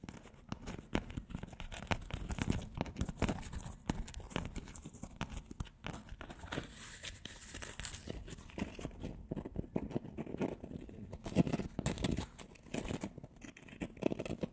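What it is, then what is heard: Dry graham cracker being snapped and crumbled. Pieces of the same dry, flat, thin, solid graham cracker are held in both hands right beside the microphone and snapped, broken and crumbled with fingertips and long nails. A dense, continuous run of crisp cracks and crumbly crackles is heard throughout, with a full low body under short, sharp snaps, leaving the cracker in crumbled pieces.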